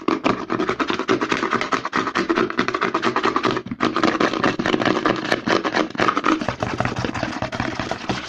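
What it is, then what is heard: Plastic lotion pump bottle. Fingertips and nails rapidly scratch and tap the front label of a white plastic CeraVe lotion bottle with a green pump, held upside down. A dense, continuous stream of short, dry clicks and scrapes has a hollow mid-pitched tone, with a brief pause partway through.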